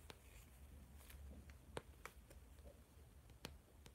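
Fingertips and nails of the left hand tap and scratch near the edge of a blue spiral notebook's plastic or laminated cover while it is held in both hands. Sharp, dry clicks with bright tops are scattered irregularly over a faint scratchy hiss. A steady low hum runs underneath.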